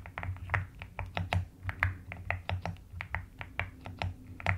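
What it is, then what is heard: Plastic mechanical keyboard. Long nails type and tap on the pastel plastic keycaps of a white-cased mechanical keyboard. The result is an irregular stream of short, crisp clicks with bright high edges over a soft, steady low hum.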